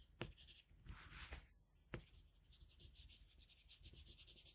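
A red colored pencil held in a metal extender is rubbed and stroked across a flat sheet of drawing paper lying on a solid desk to shade a drawing. Quiet, dry scratching and rubbing carry through the clip in uneven strokes, with a brighter, hissy swell near the one-second mark. Two sharp little taps stand out along the way.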